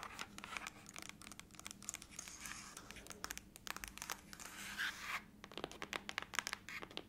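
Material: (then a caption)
Aluminum. Long acrylic nails scratch and tap the lid of a closed silver aluminum laptop lying flat. A rapid, uneven stream of sharp, bright clicks and dry scratching rasps comes through, each tap stopping almost instantly with no ring.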